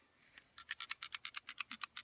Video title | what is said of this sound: Glock do's and do not's | If you get that full of gunk and it don't rattle, you need to take it apart and clean it right then.